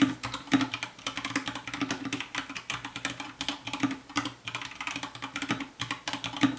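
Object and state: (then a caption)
Plastic mechanical keyboard. Fast fingertip typing with both hands on a compact 60% white plastic mechanical keyboard with a hollow case, lit by purple light. A rapid, continuous stream of crisp, bright key clacks with short, hollow-sounding decay, over a faint steady low tone underneath.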